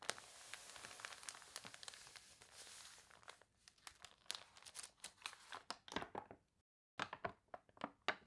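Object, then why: Glossy paper catalog pages. Fingertips and long nails rub and turn the wavy, glossy pages of a paper toy catalog up close, making a dense, bright crinkling and crunching for the first three seconds. It then breaks into many quick, sharp rustles and crackles as pages are handled. There is a brief silent gap near the seven-second mark before the crisp crinkles resume.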